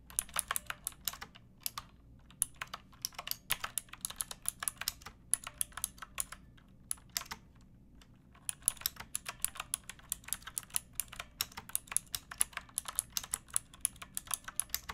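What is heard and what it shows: Fingertips with long painted nails type on a pink backlit plastic mechanical keyboard with round typewriter-style keycaps and a hollow case. Many bright, sharp key clicks sound in quick irregular bursts, with a brief pause near the middle, over a faint low hum.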